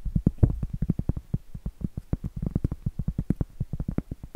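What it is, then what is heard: Cork trivet. Medium coffin-shaped acrylic nails tap and scratch a round, flat, solid cork trivet held upright. About 35 quick, dull, low thuds follow one another in a rapid, uneven rhythm, each dying away almost at once with little brightness.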